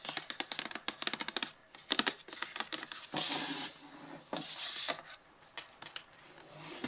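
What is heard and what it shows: Long blue-painted nails tap and scratch the top and sides of a medium, hollow, closed printed cardboard retail box for a Blue Yeti, lying flat on a table. Quick bright clicking taps come in rapid clusters, broken by smoother, hissy scratching strokes across the surface.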